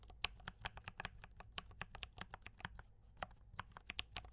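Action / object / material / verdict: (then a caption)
tap / mechanical keyboard with plastic keycaps / plastic / none. A compact mechanical keyboard with brown switches and cream and red plastic keycaps is typed on continuously by both hands with fingertip taps. The result is a steady run of about 23 quick, bright clicks with very short decay over a low background hum.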